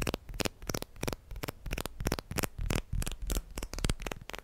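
Plastic guitar picks are tapped and handled quickly, making a rapid, irregular run of short, dry clicks. Each click is brief and bright, with a low rumble underneath and some card-like shuffling between taps.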